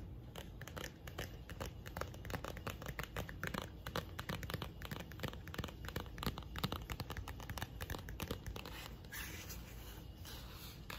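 A fast run of dry, broadband scratches and soft ticks, crinkly and papery, each dying away at once. Fingernails are working over the cover of a thin paper booklet; the light card gives no resonance. A faint steady hiss sits underneath.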